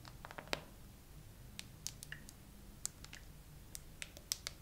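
Long nails tap and scratch across a clear plastic phone case decorated with glitter and green charms, on a phone held in a tripod. Slow, sparse, sharp clicks and ticks ring bright and high against a quiet, low hum, with a faint scratchy texture between taps.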